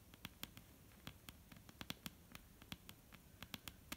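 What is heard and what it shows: Long painted nails of both hands tap and lightly scratch a solid, dark brown wooden table top. About twenty quiet, dry clicks fall at an irregular pace, each dying away almost instantly, with bright nail ticks over a soft woody knock. A faint scratching rustle fills the gaps between taps.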